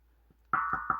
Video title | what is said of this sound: What Plumbers Don't want you to know about your well water pressure tank, and its guages | it's going to sound hollow right now because there's nothing in it